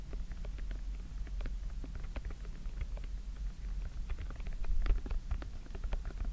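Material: Silicone.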